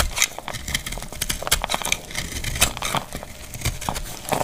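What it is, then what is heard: Dry soap bar being cut. A palm-sized, solid, dried pink speckled soap bar is held in the hand and scraped and cut with a utility knife blade, making crumbly shavings fall. A dense run of short, dry, bright scraping and crackling cuts is heard, with little low-end body and no ring after each stroke.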